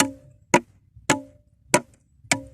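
Four sharp taps on a rock at a spot that sounds solid, unlike a nearby hollow-sounding spot. Each tap is a short, dry, woodblock-like knock with a brief low-mid tone and a bright click, dying away almost at once.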